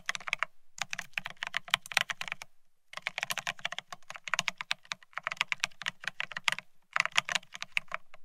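A Bear65 mechanical keyboard with blank white matte ceramic keycaps on a steel plate, resting on white cloth, is typed on rapidly with the fingertips of both hands. The result is dense bursts of crisp, bright, clacky keystrokes with very short decay and a faint low thump under each press, broken by brief pauses.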